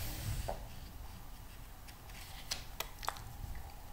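Fingertips rub across the pages of a thick, glossy paper magazine lying open and turn them, making soft, dry rubbing and crinkling over a low, quiet rumble. A few sharp, bright paper ticks and flicks stand out in the second half as the pages are handled.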